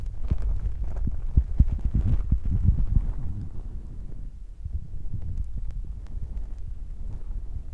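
Fingertips of both hands continuously rub and press on a soft, porous black foam windscreen covering a recorder's microphone capsule. The result is a deep, muffled rumbling, with irregular soft thumps and scratchy brushing almost entirely in the low range. It is louder through the first three seconds, dips briefly around four and a half seconds, then continues slightly quieter.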